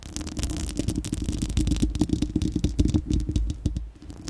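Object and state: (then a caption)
Metal mesh microphone grille being scratched. Long acrylic nails of both hands scratch a bare, round steel-mesh microphone grille with a hollow dome. The result is a dense stream of rapid, crackling scratches that sound boomy and low-heavy, with a faint hollow tone around 300 Hz. The scratching fades slightly near the end.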